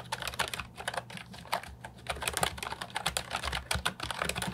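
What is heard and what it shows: Fingertips type quickly on an Ajazz 308I, a compact hollow plastic keyboard with round typewriter-style retro keycaps. Its bright, clacky keystrokes fall in a steady, uneven patter over a faint low hum.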